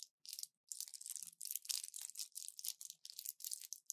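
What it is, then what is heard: Plastic and foil pill blister pack. An orange plastic blister pack with foil backing and pills inside is held in both hands and crushed and crinkled with fingers and long nails. It makes a quiet run of short, bright crackling and crinkling bursts, separated by brief pauses, with almost no low end.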